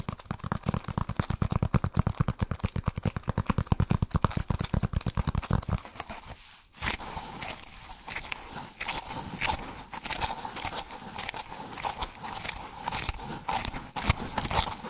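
A solid, dark speckled foam block is held in both hands and scratched and squeezed fast with the fingertips, giving a rapid run of crunchy, thumping scratches with a strong low end for about six seconds. After a brief near-silent gap, it turns to a softer, continuous crackling rustle with bright flecks that lasts to the end.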